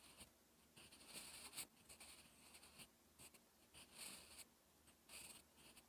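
A sharpened wooden graphite pencil, held in the fingers, writes on a flat sheet of lined, textured writing paper in short strokes. The result is a quiet, bright, dry scratching that comes in brief bursts, mostly high hiss with little low end.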